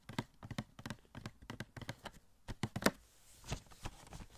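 Fingertips tap on a small, hollow cardboard Funko Pop box with a plastic window. About 13 short, dry taps with a dull, low hollow body and a brief bright tick come in quick, uneven bursts, each dying away almost instantly. A slightly louder knock near the end sounds more papery.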